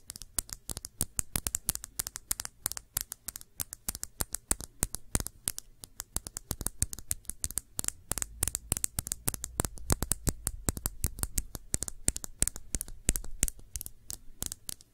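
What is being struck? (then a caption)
Small glass shot glass. Long nails rapidly tap a small, clear, hollow and empty glass shot glass held on its side. The result is a steady stream of sharp, bright clicks with almost no ring, over a low, dull rumble.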